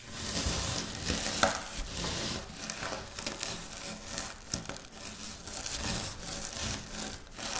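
Hands with long nails scoop, rub and crumble dry, crushed wafer biscuit crumbs between the fingers on a pinkish speckled surface, then scratch through the pile. The result is a continuous bright, crackly crunching and rustling with frequent small crisp snaps.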